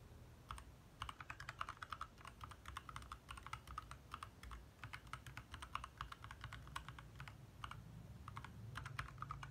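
Fast two-handed fingertip typing on a compact 60% backlit mechanical keyboard with lit plastic keycaps. The clip is a steady stream of short, crisp clicks with a bright click peak near 1.2 kHz over a soft low rumble.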